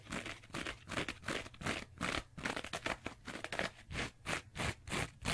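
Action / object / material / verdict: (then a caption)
scrape / two-layer kitchen sponge with abrasive scouring pad and foam / abrasive fibre / none. Long nails and fingertips scratch the green abrasive scouring pad of a rectangular two-layer kitchen sponge with a yellow foam base. Quick, uneven, rasping scrapes repeat in a steady stream, each a short bright crackly burst that stops almost at once.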